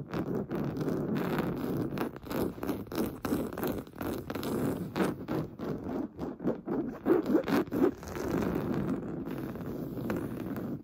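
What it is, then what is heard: Woven fabric sofa cushion. Short painted nails scratch fast across a large, soft, stuffed beige woven-fabric sofa cushion, then fingertips rub its surface. The sound is a dense run of quick, dry, low-mid rasps and scrapes, settling into a steadier, softer rubbing hiss near the end.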